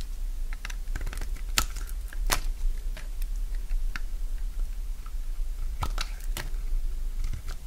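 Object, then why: Bar of soap shaved with a blade. A utility knife blade shaves the surface of a solid bar of dry purple soap held in the hand, sending flakes falling. Short, sharp, bright scraping and crunching clicks come in irregular bursts over a steady low hum.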